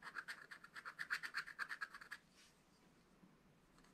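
A pointed wooden stylus held in the fingers scratches lines into the thin black wax-coated page of a spiral-bound scratch-art notebook lying flat on a table. A quick series of short, dry, bright scratching strokes rasps along for about two seconds. It then drops to near silence, broken only by a faint scrape at the very end.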